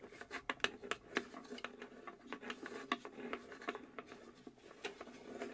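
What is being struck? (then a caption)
Small plywood box. Long acrylic nails scratch and tap across the engraved flat bottom panel of a small hollow plywood UGEARS puzzle safe box. Quick, dry clicks with very short decay are heard over a steady scratchy rasp, with a hollow midrange tone and little low end.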